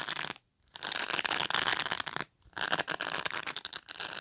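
Fingernails scratch and rub across the plastic bristles of a black pet brush. The result is a dense, bright, crackling scratch with almost no low end, heard in three bursts separated by two brief silences.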